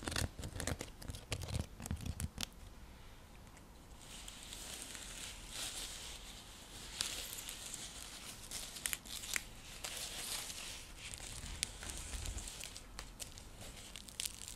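Long nails scratch across a round, flat, coiled woven straw-seagrass coaster used as a trivet. It opens with a quick run of sharp, dry taps and clicks, then settles into a steady, bright, crackly rasp with scattered sharp ticks that continues to the end.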